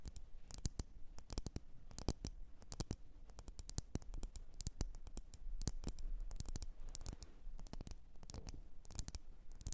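Long nails tap and scratch a lit, wax-filled red glass candle jar. The result is a steady stream of quick, dry clicks with bright edges and short scratchy strokes over a low, soft rumble, each hit dying away almost instantly.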